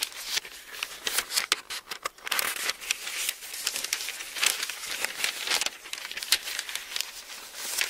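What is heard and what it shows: An open Bible with thin paper pages is held in both hands while the pages are turned with the fingertips. A steady run of quick, bright rustles and crinkles with sharp crackly peaks fills the clip, with almost no low end.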